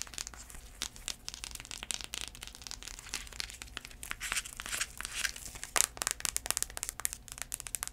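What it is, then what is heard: Sandal with cork footbed. Long nails tap and scratch the tan cork or wood-look footbed of a flat sandal with black braided straps. The result is a dense, crisp run of quick clicks and rough scraping, bright and high-pitched with very little low end.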